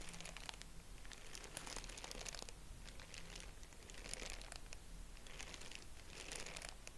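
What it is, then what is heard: Tissue paper crinkling. Fingertips squeeze and work a purple tissue-paper honeycomb, making dense, bright crinkling and crackling that comes in bursts over about seven seconds. A steady low hum sits underneath the quiet, continuous rustle.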